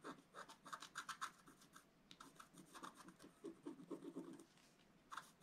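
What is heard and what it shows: A wooden stylus scratches through the black coating of a flat scratch art paper sheet, working on the green leaves at its center. Quick, dry rasping strokes come in uneven bursts with brief pauses, each stroke short and bright with a papery scrape around 1.3 kHz, then fading quickly.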